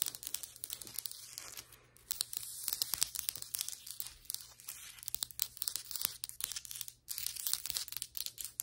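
Long white acrylic nails tap and scratch on flat, solid ceramic floor tiles, sometimes from farther away. The result is a dense run of quick, dry, bright clicks and scratchy rasps that stop instantly with no ring, alongside a faint steady low hum.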